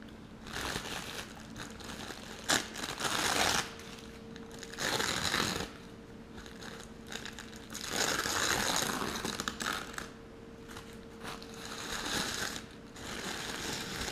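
A thin, crinkled green tissue paper sheet is held up in both hands by the fingertips and crumpled and rubbed in front of a foam insert, with the hands staying on the same sheet throughout. Bright, papery crinkling rises in several louder bursts and fades between them, over a faint steady low hum.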